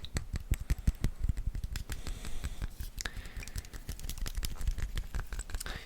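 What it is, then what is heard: Fragrance box. Fingertips tap and scratch on a cardboard fragrance box with a studded metal design, producing a rapid, uneven series of short, dull, low-pitched knocks mixed with light scraping. The taps are close together and irregular, with little ring after each one.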